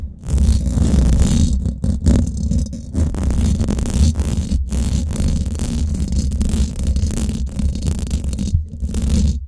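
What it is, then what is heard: Nails scratching a metal mesh microphone grille. Long black glitter-painted nails scratch across the hollow domed steel wire-mesh head of a Blue Yeti microphone. The result is a dense, deep rumbling scrape that is almost all low end, with a steady low drone near 94 Hz and little high content. It runs nearly continuously, broken only by a few brief gaps.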